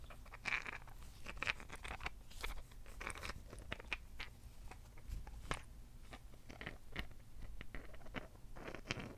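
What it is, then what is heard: Rose quartz crystal chunk. A large, solid, rough rose quartz chunk held in both hands is tapped and scratched with long fingernails across its faceted surface. Quick, dry clicks mix with bright, crunchy scratching strokes over a faint low rumble, each tap dying almost instantly with no ring.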